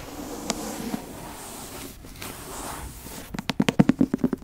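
Long acrylic nails and fingertips scratch and tap the brown leather cover and gilt spine of a thick antique leather-bound book, held horizontally and then upright. A soft, steady scratching runs for about three seconds, broken by two isolated taps. It ends in a quick run of crisp, dull taps, twelve in total across the clip.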